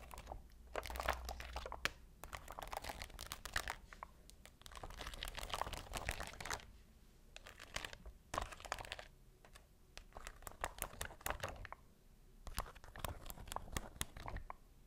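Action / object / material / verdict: scrape / flexible plastic sheet of faceted rhinestones / plastic / none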